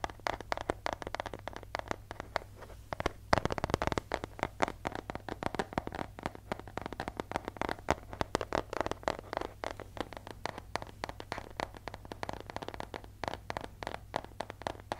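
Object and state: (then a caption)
Paper envelope. Fingertips and nails tap and scratch the surface of a thin, flat yellow paper mail envelope with a striped border and stickers, held in the hands. Rapid, crisp, papery taps and scratchy crackles overlap densely throughout, with a steady low hum underneath.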